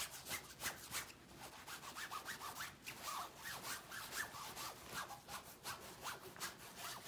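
A large hanging shower curtain of shiny pinkish-gold satin-like synthetic fabric with bands of gold sequins, soft and flexible, is rubbed and scratched by an open hand with long painted nails. Quick, steady scratchy rustling fills the clip with bright hissy strokes and faint glinting ticks from the sequins.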